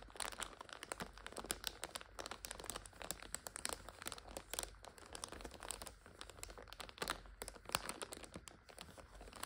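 Fingernails pinch, scratch and crinkle the plastic film of a full plastic multipack of instant noodles lying on its side. Dense, bright crinkling and sharp crackles run continuously at a low level throughout, with brief louder snaps scattered through the clip.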